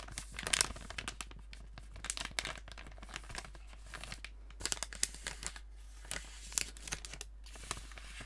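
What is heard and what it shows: A sealed, apparently full gold metallized plastic snack bag is held up and crinkled and scratched with fingertips and nails. It gives quiet, bright, irregular bursts of crinkling and crackling with sharp scratchy ticks that stop instantly, over a faint steady low hum.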